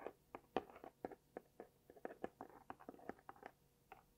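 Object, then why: Small cardboard box. Long dark-painted nails tap and scratch a small, closed, hollow-looking pink cardboard gift box with white dots and a label, held close to the mic. Nineteen quick, dry, papery taps land at an uneven pace, each with a hollow midrange knock near 760 Hz that dies almost at once. Soft scratching rustles fill some of the gaps between taps.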